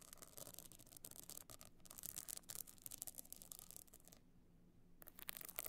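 Long nails scratch and rub across the pebbled top of a rigid, hollow box clutch covered in small glued stone and shell chips. The result is a dense, bright, gritty rasping with quick clicking ticks, which pauses briefly near the end before resuming.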